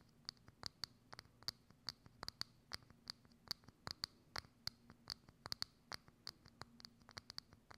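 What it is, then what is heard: Clear plastic dome lid. Long acrylic nails scratch and tap across a hollow, thin, clear plastic dome lid held over a microphone. The result is a rapid, irregular series of short, sharp, bright clicks and scrapes with a high ring, over a faint low hum.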